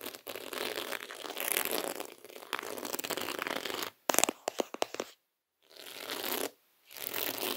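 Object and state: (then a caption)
Beaded placemat, tapped and scratched. Fingertips tap and scratch across a flat, round placemat of small reddish beads coiled in a spiral, resting on a table. A dense, bright rattling scratch runs for about four seconds, then gives way to sharp separate clicky taps. Brief silences follow, then more scratching.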